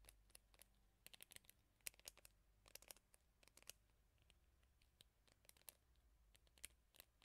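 Fingernails scratch and strum the bristles of a teal plastic hairbrush with a black rubber bristle pad, held close to the mic. A quiet, irregular series of sharp, dry, bright clicks and brief scratchy flicks plays over a faint low hum, each flick dying away almost instantly.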